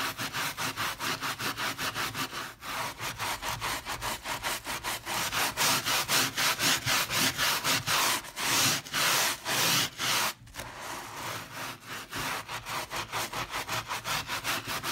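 A small green-and-white handheld bristle scrub brush is rubbed back and forth across a leopard-print fabric pile rug soaked with soap foam. It makes a fast, steady run of bright, scratchy, hissing strokes that grow louder through the middle, then drop off briefly before continuing more softly.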